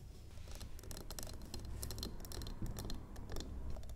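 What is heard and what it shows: Long glittery nails tap and scratch a solid, medium square cream-colored wax candle standing on a wooden table. Rapid, dry clicks and scraping flicks sound over a steady low hum.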